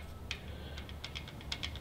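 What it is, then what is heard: Loose, failed engine rocker arm. A loose, failed metal rocker arm, the last one on a 3.6-litre Jeep Wrangler or Dodge engine, is shaken with one finger and rattles with almost no pressure. It gives a quick series of light, bright metallic ticks and clicks over a low steady hum.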